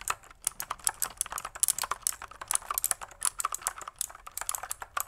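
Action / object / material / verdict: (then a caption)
tap / plastic mechanical keyboard / plastic / none. Long fingernails tap and press the keys of a pink full-size plastic mechanical computer keyboard with white and pink keycaps and a hollow plastic body. The result is a steady stream of quick, dry, bright clicks and clacks with no ring, about 33 key hits in five seconds.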